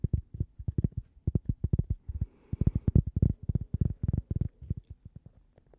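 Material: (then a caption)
Cork. Fingernails rapidly tap and scratch a thin, flat, solid toast-shaped cork coaster with a logo, held by the microphone. About 26 short, dull, low thumps come in quick, uneven bursts, each dying away almost at once. A faint scratchy rustle sits between the taps in the middle of the clip.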